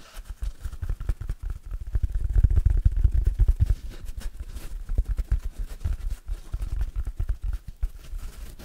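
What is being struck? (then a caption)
Synthetic foam sponge. Fingertips and nails scratch and squeeze the surface of a large, oval, yellow, hard synthetic foam sponge with big pores, held in the hands; it is stiff, solid and dry. The result is a dense stream of short, dry, low-pitched scratching and crackling thumps, swelling loudest in the middle and then easing into quieter, scattered rasps.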